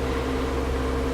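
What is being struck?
Nothing is struck.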